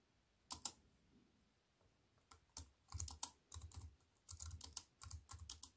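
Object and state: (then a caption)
Computer keyboard being typed on. Fingertips with long white-painted nails type on a slim wireless keyboard with a silver aluminium frame and black plastic chiclet keys, resting on a wooden table. Quick, bright clicky taps with a soft low thud come in short bursts and irregular clusters, each dying away almost instantly.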